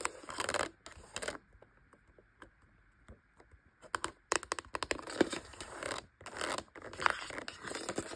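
Long light-blue acrylic nails tap and scratch across the rubber keys and hard black plastic casing of a Brother P-touch handheld label maker, a hollow electronic device resting on a fabric surface. Bursts of dry, bright scratching alternate with a quieter stretch of light, sharp taps over a faint steady tone near 1.4 kHz, before dense, rustling scratches and clicks fill the rest of the clip.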